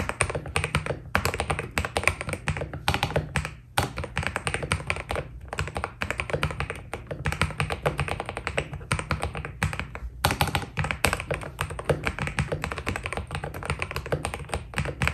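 A white Keydous NJ80 mechanical keyboard with PBT plastic keycaps is typed on steadily with the fingertips of both hands. A dense run of short, crisp keystrokes with a deep, low-pitched thock and bright clicky tops continues throughout, with each stroke dying away almost instantly and a few brief pauses between bursts.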